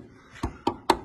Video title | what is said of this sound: MORGAN 4/4 1600 CROSSFLOW 1972 www.catlowdycarriages.com | tap on that heavily under sealed but solid cross member